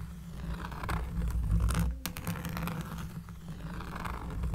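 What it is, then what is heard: Cork surface scratched. A cork surface is scratched up close, producing a deep, bassy, continuous rasping with quick strokes repeating at an uneven rhythm. The sound has a faint papery crackle on top.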